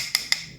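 Two sharp, bright taps on the body of a DZ Crossfire budget spinning reel give short wood-block-like clicks with almost no low end. The high ring decays quickly, and the body sounds solid.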